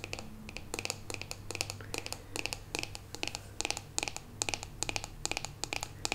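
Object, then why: Plastic hairbrush back. Long pink acrylic nails tap and scratch the glossy, metallic-finish rose-gold plastic back of a hollow-shelled handheld paddle hairbrush with black bristles. Quick bursts of crisp, bright clicks and scraping ticks die away almost instantly over a steady low hum.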